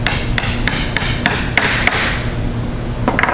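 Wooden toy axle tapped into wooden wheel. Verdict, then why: Seated. A second axle is lightly tapped with a hammer into a wooden toy wheel, producing a steady series of bright, sharp clicks over a low background hum. The taps continue until the distinct bottoming sound shows the axle is fully seated.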